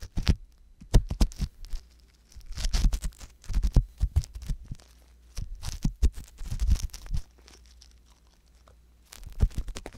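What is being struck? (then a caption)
Silicone ear on a binaural microphone, scraped with an ear pick. An ear pick scratches continuously inside the canal of the left silicone ear on a binaural microphone. Bursts of dry scratching and crinkling come with deep, muffled low-frequency thumps and rumble, broken by short quiet gaps, including a longer pause near the end before the scratching resumes.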